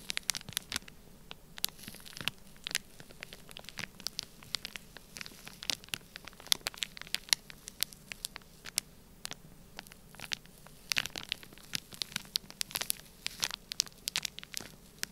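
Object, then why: Kinetic sand sealed in a plastic bag. A black pointed stylus scratches and presses a line across a sealed clear plastic bag full of orange kinetic sand. Dense, quick, bright crackles and ticks of the plastic come in an irregular patter over a faint hiss, with almost nothing in the low end.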